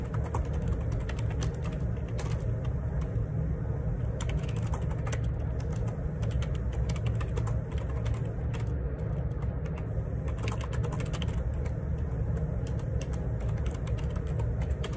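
Fingertips type steadily on the plastic keycaps of a black Perixx Periboard 612 wireless Bluetooth ergonomic split keyboard with a hollow plastic housing, lying on a grey laminate desk. The keystrokes make a continuous stream of soft, hollow clicks and taps over a low, constant rumbling hum.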